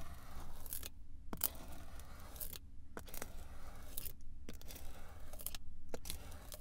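A pink pizza cutter wheel is rolled across a flat, solid slab of swirled pink, blue and yellow kinetic sand, cutting it in parallel lines. Quiet, grainy crunching scrapes come in repeated bright bursts with short silent gaps between strokes, over a steady low hum. Each stroke ends quickly with almost no ring.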